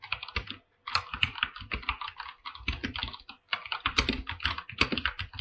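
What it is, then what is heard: Mechanical keyboard with plastic keycaps on a metal plate. A full-size 104-key mechanical keyboard with white and light-blue PBT plastic keycaps on a silver aluminum top plate, resting on a pink surface, is typed on with fingertips tapping across the keys. Rapid, closely spaced clicky clacks with a bright, crisp top and a faint low thock run nearly continuously, broken by a couple of brief pauses.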